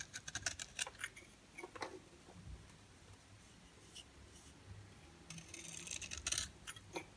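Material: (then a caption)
Soap. A utility-knife blade scrapes thick shavings off the face of a solid, oval, dry bar of soap with a yellow core and black shell, held in the palm. Crisp, bright scraping and crackling bursts come in quick clusters at the start and again in a denser run near the end, separated by a quieter stretch.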